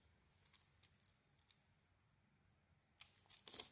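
A metal blade peels shavings off a palm-sized, solid red-and-black patterned soap bar with a pink interior, held in the hand. Soft, bright, crisp scraping clicks come and go with quiet pauses between them, ending in a louder, denser burst of shaving.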